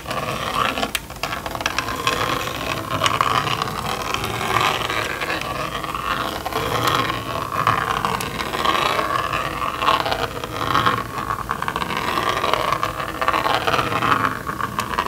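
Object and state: Plastic magnetic drawing board.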